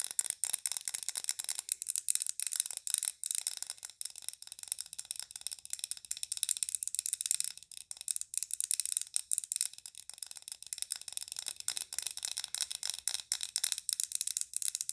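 Long nails tap and scratch quickly on a large glass candle jar with a glass lid and green wax. The result is a dense run of dry, sharp clicks and scrapes, almost entirely high and bright, with no low end and no ring after each hit.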